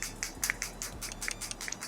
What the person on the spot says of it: There's something inside. Shake the color together. I don't know what's inside